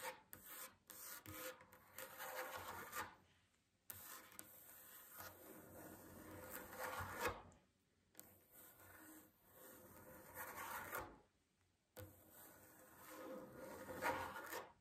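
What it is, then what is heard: Wooden table. Long fingernails of both hands scratch and tap across a solid wooden tabletop. The result is a soft, dry, raspy scratching in several sustained bursts, separated by brief near-silent pauses, with quick light taps at the start.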